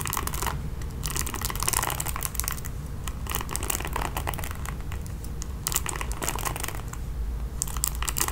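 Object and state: Plastic paddle hairbrush, bristles scratched.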